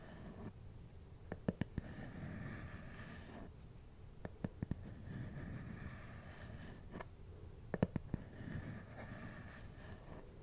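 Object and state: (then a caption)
Plastic glasses case tapped with nails. Fingernails and fingertips tap and scratch the top of a small, hard, hollow black plastic glasses case held close to the microphone. Quiet, soft scratching runs throughout, broken by three brief clusters of sharp, dry taps with almost no ring. The sound stays low and muffled overall.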